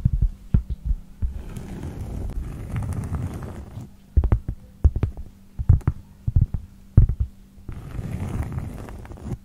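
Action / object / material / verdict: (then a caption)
tap / round cork board / cork / none. A large, round, thin cork pad is held flat while long pointed nails tap and scratch across its top surface. Sharp, dull taps come in clusters between stretches of low, continuous scratching. Almost all the sound sits in a deep, muffled low range, with a steady hum underneath.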